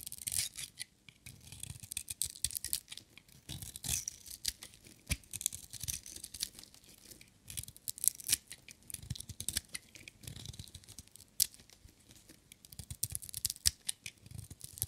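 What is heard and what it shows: A dry, solid green glittery bar of soap with white stripes, coated in varnish, is shaved with a metal utility knife blade. Rapid, crisp scraping and crackling strokes come in bursts, with bright, hissy detail and soft low thuds. Every stroke stops dead with no ring.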